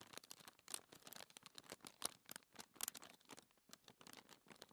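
Long manicured fingernails scratch and rub across a flat, thin white paper sheet lying on a dark table, with ringed fingers resting on the paper. The result is a quiet, rapid run of crisp, bright scratching strokes with a few sharper accents and almost no low end.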